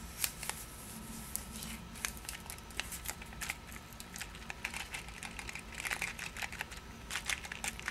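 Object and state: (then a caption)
Paper-wrapped cardboard box. A Pastiglie Leone paper-wrapped cardboard candy box is turned in the hands while long nails scratch and tap the wrapper. The result is a steady run of bright, crisp crinkles and short, sharp ticks over a low hum. The box stays the same throughout.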